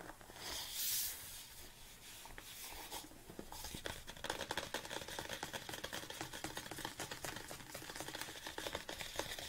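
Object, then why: Large plastic supplement tub. Fingernails tap the body of a large red plastic BCAA supplement tub, held both tilted and upright. A soft, bright rustle near the start gives way to quiet, clicky taps that become quicker and denser through the second half, each one short and dry.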